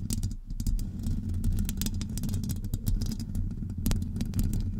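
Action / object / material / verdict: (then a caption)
scrape / metal wire-mesh microphone grille / metal mesh / none. Long acrylic nails on both hands scratch a hollow metal wire-mesh microphone grille. The result is a dense, continuous rumbling scrape, heavy in the low end around 94 Hz, with quick, bright scratchy flicks cutting through it.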